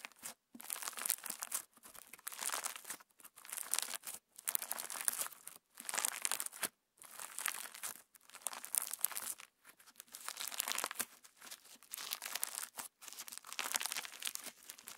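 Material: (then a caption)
Slime, plastic. A palm-sized clear orange slime filled with purple and pink plastic star sequins is squeezed in one hand, then kneaded with the fingertips of both hands. This produces repeated bursts of bright, crisp crackling and crinkling, separated by brief silences. There is almost no low end.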